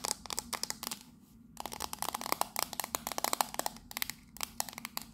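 Long nails rapidly tap and scratch the sides of a small, hollow, octagonal printed tin tea caddy from Fortnum & Mason, turquoise and purple, held in both hands. Bright, dry metallic clicks come in quick bursts around a midrange tone near 800 Hz, with a short lull of soft scratching before the tapping resumes. Each tap dies away almost instantly.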